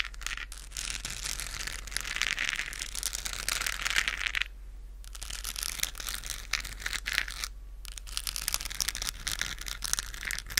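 A hand-sized, hollow, lit plastic galaxy moon lamp with a textured globe is held close to the microphone and scratched with long acrylic nails. Dense, bright scratching and crinkling fills the clip, with two brief quieter pauses near the middle and end and a steady low hum underneath.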